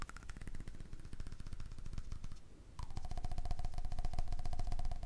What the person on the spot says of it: when you cover your hand on it you can change the pitch of the sound